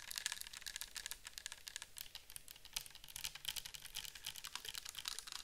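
Long nails tap and scratch a clear plastic bottle with a white cap, mostly full of orange liquid, held in the hands. Quick, irregular, bright clicks and light scratching repeat continuously, each dying away almost instantly, with little low end.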